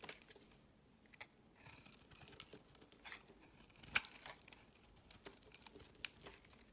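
A metal utility knife blade shaves a solid tan-brown bar of soap into flaky curls, making quiet, bright, dry scraping and crinkling sounds. Two sharper, louder clicks stand out near the four- and six-second marks.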